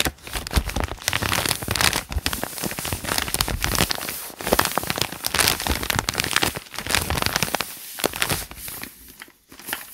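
Fingertips rub and scratch the crinkled lined white pages of a thick open paper notebook. The result is a dense, continuous stream of dry crinkles and crackles with bright, high detail and short quiet gaps near the end.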